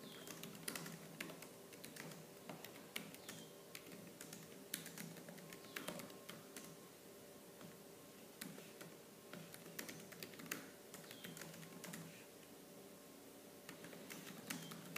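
Fingertips with medium-length purple-painted nails type fast on the black plastic keys of a laptop keyboard. Rapid, sharp, bright clicks and clacks come in uneven bursts, each dying away almost at once, over a faint steady low hum.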